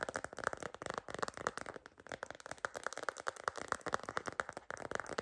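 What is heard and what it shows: Long green nails tap and scratch rapidly on a cream plastic phone case decorated with a bunny and stickers, fitted on a phone. The taps come as a fast, uneven stream of crisp, dry clicks centred around 1.3 kHz, with very little low end. Light scratchy rustles fill the gaps between them.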